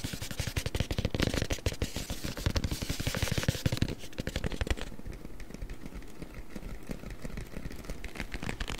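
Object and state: Cardboard box.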